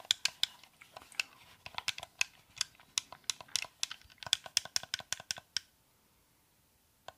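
A white, hand-sized, hollow plastic Xbox-style game controller is held in both hands while fingertips and nails press and tap its buttons, d-pad and thumbsticks. About 23 sharp, bright, dry clicks with no low end ring out in a quick, uneven run for about five and a half seconds. It then goes quiet, with one last click near the end.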